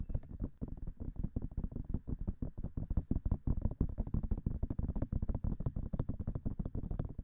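Long nails tap fast on both white silicone ears of a binaural microphone. The result is a dense, uneven stream of short, dull, muffled thumps, heavy in the low end with almost no brightness, and each tap dies away almost at once.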